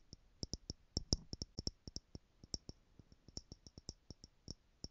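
Long manicured nails tap the top lid of a tower of small, clear plastic stackable jars screwed together, partly filled with loose gold glitter or jewels and held in one hand. About twenty quick, uneven taps are heard as short, dry clicks, each with a bright, high tick over a soft low knock. Each one dies away almost instantly, at a quiet, close level.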